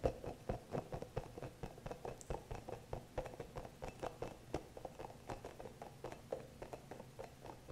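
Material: Rubber.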